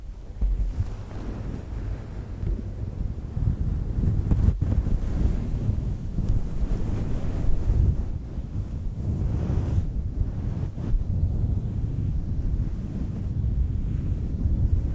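Long nails scratch and rub a fluffy faux fur microphone windscreen, a synthetic fur mic cover. The result is a continuous, muffled, low rumbling rustle with almost no high end, with brief darker dips in between.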